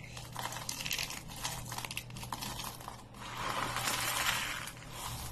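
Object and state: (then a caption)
Dry soap flakes being crushed and dropped. Fingers dig into a pile of small, dry green soap flakes on a wooden table, squeezing and dropping them. This makes a dense, bright, crisp crackle of tiny clicks and crunches. It swells into a louder, continuous rustling crunch in the second half over a faint low hum.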